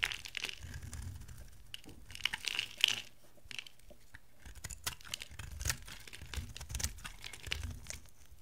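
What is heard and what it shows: A dry, oval, green and dark blue solid bar of soap, held in the hand, is cut and scraped into thin flakes with a metal utility knife. Quiet, bright, crisp crackling and scraping bursts come in quick, irregular runs, with a soft low rumble underneath at times.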